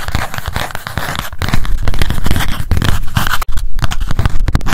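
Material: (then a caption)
Paper, cardboard. Long acrylic nail tips rapidly tap a small pink spiral memo notebook with a cardboard cover while it is held up. The result is a dense run of short, dry, papery clicks with a strong low thump, pausing only briefly before resuming.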